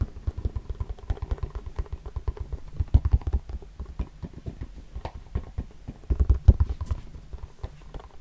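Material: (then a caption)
Plastic. A hand-sized round CD spindle box with a clear plastic lid, partly filled with discs, is held close and tapped and scratched with the fingertips. The result is a quick, uneven run of short, dull, low-pitched taps and thumps with almost no ring, broken by soft scratchy rustles and a few louder knocks near the end.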